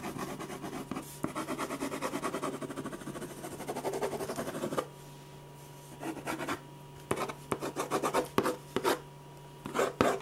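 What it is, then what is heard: Pen scratching on a paper sketch pad. A metal ballpoint pen rubs shading strokes back and forth across a large sheet of white drawing paper laid flat on a firm board. For about five seconds the scratchy rasping is quick and continuous, then it breaks into separate short bursts of strokes with quiet gaps between them. A faint steady low hum runs underneath throughout.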